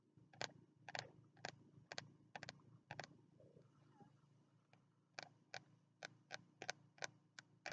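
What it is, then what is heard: Spiral notebook with card cover. Fingertips tap the green card cover of a small, closed spiral-bound notebook held upright in both hands. Seventeen short, dry, bright taps come in uneven clusters, with a quieter stretch of faint rustling in the middle. Each tap dies away almost at once over a low background hum.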